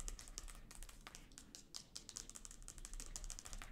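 Long gold acrylic nails tap quickly across the glossy paper dust jacket of a large, solid, closed hardcover illustrated book standing upright on a sofa. The result is a soft, fast, irregular patter of short, dry, crisp clicks that are bright in the highs and die away almost instantly over a faint low rumble.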